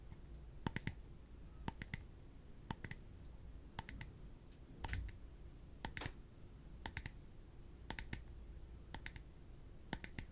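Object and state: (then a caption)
Clear plastic cup. A small, empty, translucent plastic cup is held in the hands and tapped with the fingertips and nails. About ten short clusters of two or three crisp, bright clicks land roughly once a second, each dying away almost instantly with no ring, over a quiet low hum.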